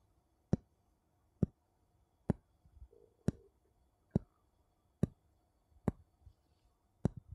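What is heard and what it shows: Two wooden bowls are tapped against each other eight times, about once a second. Each tap is a short, dry knock with a low, woody body and a quick bright click. Faint softer rustles fill some of the gaps in an otherwise quiet setting.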